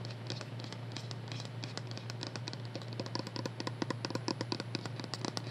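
A small, hollow white plastic skincare bottle with a printed label is held in both hands and tapped with long manicured nails. Rapid, bright, clicky taps and light scratches patter over a steady low hum, growing slightly louder and sharper toward the end. Each tap dies away almost at once.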